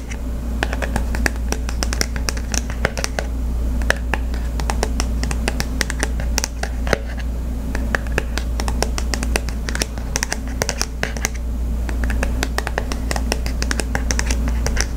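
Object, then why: Small flat cardboard card holder. A small, flat cardboard Visa gift card holder is held in hand while fingernails scratch and tap across its glossy printed face. The result is a dense run of sharp, dry clicks and brief scratches over a steady low hum, with each tap dying away almost instantly.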